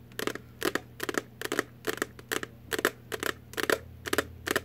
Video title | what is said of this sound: ASMR ~ Tapping, Tapping, Tapping | it's just an empty little box